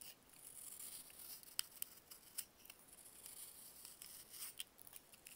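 A box-cutter blade slices a solid, dried baking soda block into slabs. The quiet, bright, dry scraping and crumbling is punctuated by a few sharp, crisp snaps as the blade cuts through, with almost no low end and no ring after each crack.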